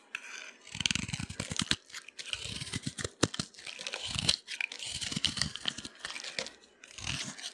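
A utility knife blade cuts and scrapes crunchy slivers off a solid orange bar of dry soap, already partly carved and held in the palm. Bursts of dry, bright crunching and tearing scrapes come in quick runs with brief pauses between strokes.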